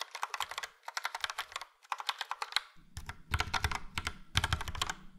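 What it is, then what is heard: Plastic mechanical keyboard being typed on. Fast typing with both hands' fingertips on a full-size Logitech POP Keys plastic mechanical keyboard, which has a yellow frame and round dark grey and light grey typewriter-style keycaps. Bursts of sharp, bright clicks come with short pauses between them. Partway through, a low thudding layer joins the clacks.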